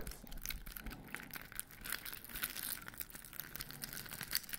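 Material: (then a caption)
Foam. Fingertips and nails scratch and rub the rough surface of a large white, glitter-coated foam Christmas bauble with grey stars, held in one hand. A quiet, steady stream of dry, bright crackling and rasping, with soft rubbing underneath and small scratchy peaks throughout.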